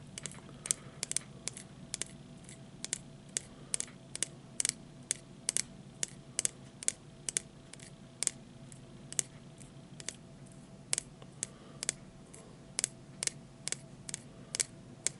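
A small hollow plastic disposable lighter with a metal hood is held upright in one hand while the fingers of the other hand tap and flick at its plastic body. About 39 quick, sharp, bright clicks and ticks come in an irregular rhythm over a faint low hum, each one dry and dying away almost instantly.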